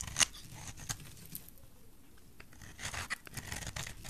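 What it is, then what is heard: Dry soap bar scraped with a blade. A solid, oval, bright green bar of dry soap is held in the hand and scraped with a metal utility knife blade. It makes dry, bright, crisp scratching and shaving sounds, with a sharp loud scrape near the start and a busier cluster of scrapes toward the end. Each scrape stops short with no ring.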